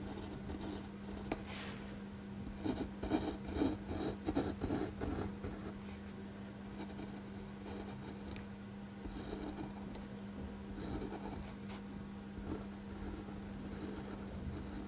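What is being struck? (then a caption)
Gel ink pen on a paper sheet. A clear-barrel gel ink pen makes hatching strokes on a flat white paper sheet resting on a desk, producing soft, dry scratching. A quick burst of strokes between about 2.5 and 5 seconds is followed by lighter, scattered scratches over a faint, steady low hum.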